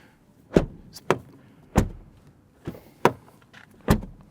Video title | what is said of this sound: Asa arata viitorul AUDI! Noul Q6 scrie o noua pagina în cartea de istorie a brandului | it sounds full when you close the door